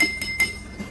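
A drinking glass half filled with water is tapped with a spoon, giving bright clinking strikes with a clear ringing tone around 2.1 kHz that fades quickly. Its tone differs from that of the full glass.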